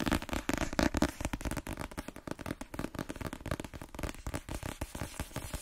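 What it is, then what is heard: Paperback book being tapped. A cream paperback book marked "M," a solid block of paper, is held in one hand and tapped quickly with the fingernails of the other hand on its cover and edges. The result is a fast, dense run of dry, clicky taps with a soft papery thud underneath, each one very short with no ring.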